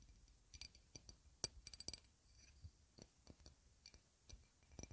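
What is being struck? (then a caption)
Small round glass dish. A small, round, shallow clear glass dish, empty and held in the hand, is tapped and scratched with long red nails. Quiet, irregular clicks and light scrapes ring bright and high but die away almost at once, with soft low thumps beneath some taps.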